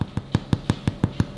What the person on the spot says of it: sounds hollow that means it's done